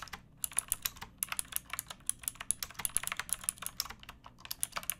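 Long painted nails and fingertips type quickly on a pink backlit typewriter-style mechanical keyboard with round plastic keycaps and a hollow plastic case. The result is a steady stream of sharp, bright clicks and clacks, each decaying almost instantly, with some faint low rumble underneath.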